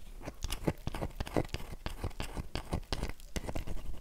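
Long nails scratch the face of a solid oval dry bar of soap held in one hand, while the empty box lies untouched to the side. Quick, dry crackling scrapes come in a rapid string of short bursts with a soft low body and little ring.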